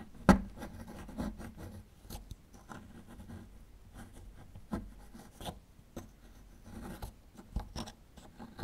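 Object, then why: Plaster block. A small metal chisel tool scrapes and picks at a small solid plaster fossil excavation block, breaking off chunks of plaster. A sharp crack opens the clip, followed by quiet, dry scratching and scattered short ticks and crumbling clicks, mostly low with a few bright edges.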